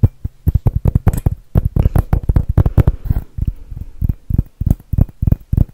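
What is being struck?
Glass Christmas ornament.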